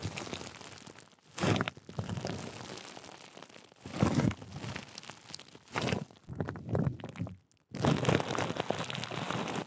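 A large sheet of clear plastic bubble wrap, wrapped around and held over a Blue Yeti microphone, is squeezed, rubbed and scratched with long nails and fingertips. Dense crinkling and crunching continues throughout, with louder bursts breaking through the steady rustle and a brief near-silent gap just before the final stretch.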